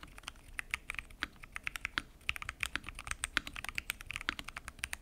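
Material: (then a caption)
Plastic. Fingertips type continuously on a full-size mechanical keyboard with lubed switches, pink and mint PBT keycaps, and a transparent acrylic case. Rapid, uneven keystrokes give short, crisp clacks that are bright and light, with little low end. Each stroke dies away almost instantly.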